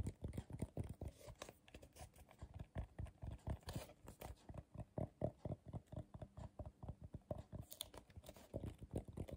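Fingertips and short nails tap rapidly on the base and sides of a medium, hollow, empty bowl of coiled colorful paper held upside down. About 35 soft, dull, low thuds come in an uneven, pattering stream, each one dying away almost instantly with a faint papery crackle and little brightness.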